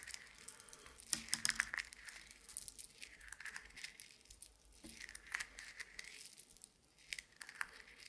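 A handful of small, solid, dry roasted coffee beans is held in a closed fist and squeezed and rubbed together by the fingers and palm. The result is a quiet, bright, crunchy crackle and rattle of many tiny clicks, clustered in bursts with a few sharper snaps near the start.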